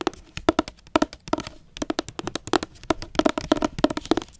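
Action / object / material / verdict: tap / hardcover book with glossy jacket / cardboard / none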